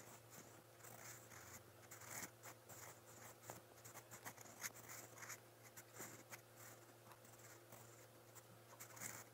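A steel fountain pen nib, held in the fingers, scratches across a lined white paper notebook page while writing brown letters. Quiet, bright scratchy strokes come in short irregular bursts over a steady low hum.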